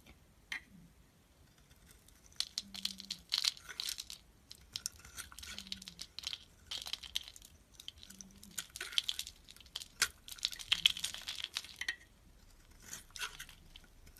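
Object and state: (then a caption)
Bar of soap being shaved. A palm-sized, solid oval orange bar of soap with a white core is held in the hand and shaved with a steel utility knife blade. Repeated bursts of crisp, bright scraping and crinkly carving come in separate passes, with quiet gaps between them.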